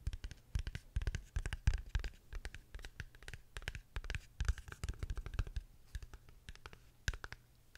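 A small, hollow, dark matte rectangular cardboard gift box lid, held close to the microphone, is tapped and scratched with long fingernails. A quick, uneven run of dry taps and scratchy strokes follows, each with a dull low thump and a bright, crisp edge that dies away almost at once.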